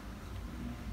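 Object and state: Nothing is struck.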